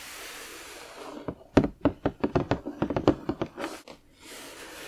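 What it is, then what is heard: Cardboard puzzle box. Fingertips and nails scratch and rub across the printed surface of a large, flat cardboard box for a Diagon Alley 3D puzzle lying on a table. About fourteen short, dry, papery taps and scrapes follow one another in quick succession. A soft steady hiss sits before and after them.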